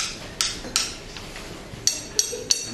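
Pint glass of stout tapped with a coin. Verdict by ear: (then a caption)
Settled. A glass of settled Guinness, left alone for a while after pouring, is tapped with a coin five times. Each tap gives a bright, high glass clink with a very short ring. The pint now sounds like normal glass again, the sign that it is settled and ready to drink.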